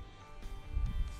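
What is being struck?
Nothing is struck.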